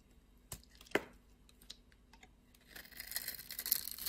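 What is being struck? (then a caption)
Bar of soap. A blade shaves and scrapes the surface of a solid blue and white striped soap bar held in the palm. Sharp, dry clicks sound at first, with the loudest near one second. From about 2.7 seconds on, they give way to a rising, bright, crumbly scraping rasp.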